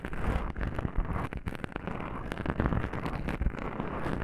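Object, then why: Foam microphone windscreen. Long pink nails on both hands scratch and rub black soft foam microphone windscreens, producing a dense, close, muffled rumble of scraping and brushing. The sound is heavy in the low end with little high content, with soft thumps rising out of the continuous scratching.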